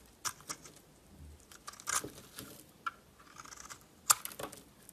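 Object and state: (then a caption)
Bar of soap scraped with a blade. A solid green bar of soap held in the hand is scraped with a metal utility knife blade. Short, crisp scraping strokes with bright, hissy edges come between quiet pauses, and the sharpest stroke lands near the end.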